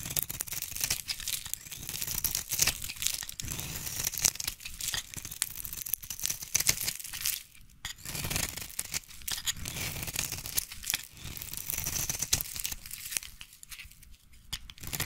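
A utility knife blade scrapes and shaves a solid pink Palmolive soap bar held in the hand. The result is dense, bright, crisp scraping and crackling with rapid, closely packed strokes and a brief quieter gap partway through.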